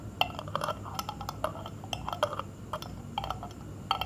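A glass jar or glass bottle is tapped and clinked in a quick, irregular series of bright, short ticks. The ticks are clear, ringing, and high-pitched, and each fades almost at once against a faint low background hum.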